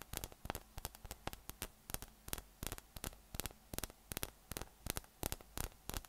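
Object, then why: Inflated PVC spiky massage ball. Fingertips tap from below on a yellow, hollow, inflated PVC spiky massage ball with nubs, held in one hand. About 27 short, dry, hollow taps come in quick, irregular clusters of roughly three per second. A low, steady hum near 60 Hz runs underneath.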